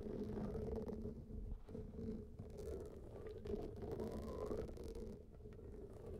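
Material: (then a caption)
Rubber. Both hands scratch and tap with fingertips and nails across a large, blue, textured rubber hot water bag that lies flat and is filled with water. The result is a steady, muffled rumble of soft scrapes and dull taps with a low, gurgling, watery body and almost no brightness.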